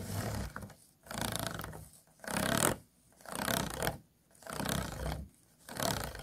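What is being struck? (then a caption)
Disposable clear plastic food container with ridged walls. Fingernails scratch across the ridged walls of an empty, hollow, disposable clear plastic food container. The result is six rough, raspy bursts of scratching, broadband and bright with a low rumbling body, each separated by brief quiet pauses.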